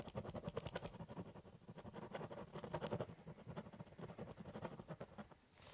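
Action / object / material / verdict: scrape / ballpoint pen on corrugated cardboard / cardboard / none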